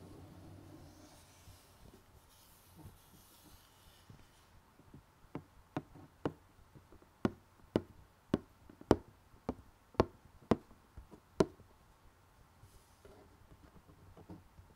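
Fingertips and nails scratch and tap the glossy printed lid of a closed rectangular cardboard jigsaw box holding puzzle pieces. Soft, dull scratching and rustling open the clip, then eleven short, crisp taps with almost no ring follow one after another before it fades back to faint scratching.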